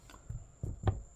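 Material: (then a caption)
Bread. Knocking on the top of a freshly baked chocolate chip Irish soda bread loaf produces four soft, low, dull thuds that die away almost instantly. The loaf sounds hollow, showing it is baked through.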